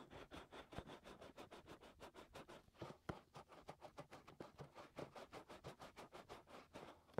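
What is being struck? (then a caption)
Silicone ear of a binaural microphone. Fingertips scratch the rims and openings of the white silicone ears of a 3Dio binaural microphone, whose canals are hollow. About 27 quick, evenly paced rasping strokes follow one another, each a short broadband burst centered in the low mids, with a few louder, thumpier touches. The sound is close and muffled, with little brightness and almost no ring after each stroke.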